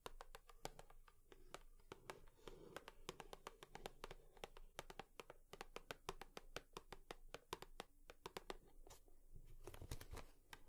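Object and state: Cardboard tissue box.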